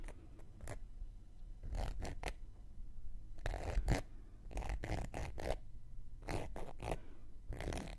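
A thin wooden knitting needle scratches the surface and rim of a round, flat, solid cork coaster held in one hand. Short, dry, rasping scratch strokes come in uneven clusters, separated by quiet pauses. Each burst spreads from a low rumble up to bright hiss.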